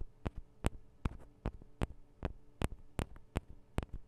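Long acrylic nails tap on the two small cylindrical metal microphone capsules of a Tascam DR-40 recorder, giving eleven short, dry clicks at an uneven pace. Each tap is a brief, sharp tick that dies away almost instantly over a steady low hum.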